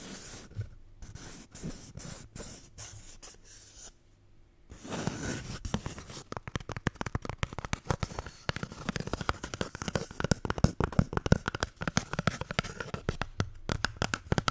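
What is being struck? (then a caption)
Paper toilet roll. A paper toilet roll is tapped and scratched. Soft, sparse taps with quiet pauses come first, then after about five seconds the sound turns into dense, rapid, dry scratching and tapping that runs to the end. The sound is mostly low, with brief, dull, non-ringing hits.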